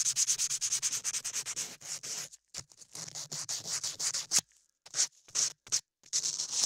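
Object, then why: Modeling clay ear over a microphone. A latex-gloved hand rubs a dark sanding block over a solid beige modeling-clay ear sculpted onto a 3Dio binaural microphone ear, sanding and scraping the clay surface. Quick, rhythmic, bright rasping strokes come in bursts, with short silent pauses between runs. The sound is a dry, high, hissy scratch with almost no low end.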